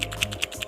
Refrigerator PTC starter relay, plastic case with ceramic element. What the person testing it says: pada saat Anda kocok seperti ini ada suara pasir di dalam sini ya, ini bisa dipastikan kalau misalnya relay ini somplak, relay ini KO